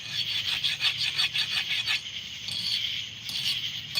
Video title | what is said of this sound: JIJ forge N fishin is live! | we're going to hit it with the file. And you can hear it. It escapes.